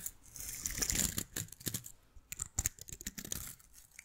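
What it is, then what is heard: Plastic bristle miniature tree, scratched. A small artificial bottle-brush miniature Christmas tree with green plastic bristles is held in one hand while fingertips and nails scratch and brush the bristles close to the microphone. It makes bright, crisp crinkling and scratchy rustles in irregular bursts, mostly high-pitched with little low end and no ring after each stroke.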